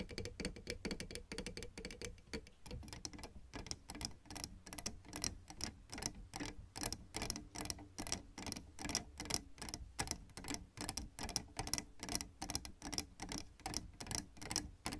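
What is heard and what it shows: Long red fingernails tap on the surfaces of white and black plastic piano keyboard keys, making rapid, uneven, clicky taps with no notes sounding. Each tap is a short, bright click that dies away almost instantly over a soft low background.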